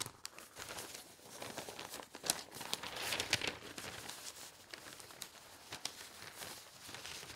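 Both hands with long painted nails rub and smooth the thin pages of an open newsprint newspaper spread on a table. A steady, bright paper rustle runs throughout, broken by sharp crinkles and nail scratches that stand out in the middle of the clip, with almost nothing in the low end.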